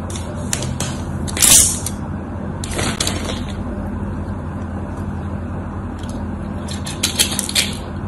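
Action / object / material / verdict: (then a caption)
scrape / bar of soap cut with a blade / soap / none. A utility knife blade carves and scrapes small cubes off a solid white bar of soap, scored in a diagonal grid and held in the hands. Crisp, bright scraping and crackling bursts stand out over a steady low hum, with the loudest crunch near the start and a cluster of sharper cuts toward the end.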